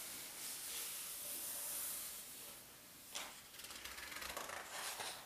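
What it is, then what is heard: Paper atlas pages being rubbed. A flat palm and fingertips rub across the thin paper index pages of a large open atlas, making a soft, bright, hissing swish for about three seconds. A page corner is then lifted, giving a sharper, crinkly rustle with quick papery ticks that continues to the end.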